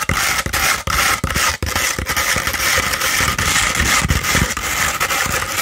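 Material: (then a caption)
Sandpaper. A thin, hollow tube of beige 100-grit sandpaper, held upright, is scratched up and down with long pointed red acrylic nails. The result is a dense, continuous gritty rasp, bright and hissy on top, with soft low thumps marking each stroke at an uneven pace.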